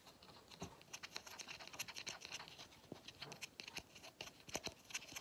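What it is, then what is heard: Pleated paper vacuum filter. Fingernails scratch across the pleats and grey end cap of a hollow pleated paper vacuum cleaner filter. The result is a quiet, dry, bright rasping made of rapid, uneven scratching strokes with almost no low end.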